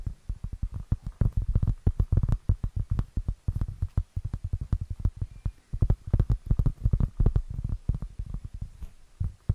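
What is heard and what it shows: Long nails tap and scratch across the surface of a round, flat, solid, plate-sized cork board. The result is a rapid, uneven series of short, dull, low thuds that die away almost instantly, with faint scratchy texture between taps.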